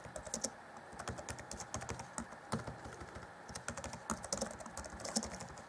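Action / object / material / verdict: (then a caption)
tap / plastic laptop keyboard keys / plastic / none. Fingertips of both hands type rapidly on the black plastic chiclet keys of a grey Acer Chromebook C20 (2014) laptop keyboard deck. A steady stream of quick, dry plastic clicks and taps is heard, with bright clacks and low soft thumps. Each keystroke dies away almost instantly.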